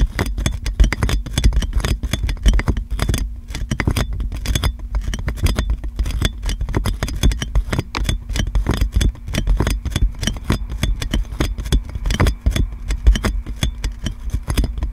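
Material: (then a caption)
Plastic film. Fingernails scratch clear plastic cling film wrapped around a metal microphone, producing dense, continuous crackling and crinkling with rapid sharp ticks. The sound is heavy and boomy in the lows with a steady low hum underneath and faint bright edges on each scratch.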